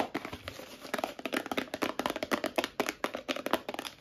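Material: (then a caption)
Plastic, metal. A medium clear plastic Cleanic tub with a lid, filled with small metal pieces, is tapped with long nails and shaken. About twenty quick, sharp clicks and rattles come in an uneven, fast rhythm, with a mid-range body around 645 Hz and bright crinkly edges. Each tap dies away almost at once, with very little low end.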